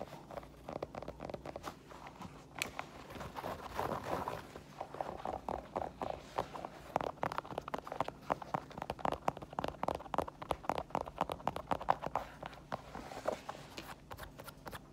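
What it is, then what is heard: Sneaker tapped with fingernails. Long nails tap the ridged rubber sole of an empty white Adidas mesh and foam sneaker, then tap and scratch its synthetic upper and the laces area. The result is a quick, dense run of dry clicks and light scraping, mostly in the mid range with short, crisp transients.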